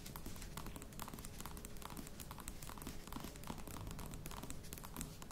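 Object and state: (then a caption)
Faux leather box, scratched and tapped. A croc-embossed faux leather box held at both ends while fingertips and nails scratch and tap its sides. The result is a steady, quiet run of soft taps and scratchy crinkling with a low, dull body and short, dry brightness, without pauses.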